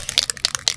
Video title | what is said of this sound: Gundam 101 w/ JOBBY! Part 3: Clear Coat Cancer | you hear that ball in there that ball is going to mix up all the paint